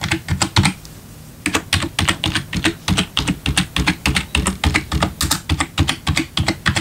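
One hand types with its fingertips on the left section of a black plastic backlit computer keyboard. Quick, clicky keystrokes with a low thock and bright clatter break off briefly for a quiet pause near the start, then resume in a steady, fairly even run of rapid taps.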